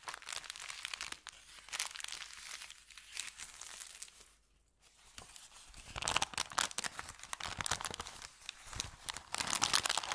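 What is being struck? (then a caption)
Thin kraft paper bag. An empty, crumpled thin kraft paper bakery bag is rubbed by fingertips, giving dense, bright crinkling and tearing-like rustles with almost no low end. After a brief near-silent pause around the middle, hands lift and crumple the bag, and the crackling grows louder and busier to the end.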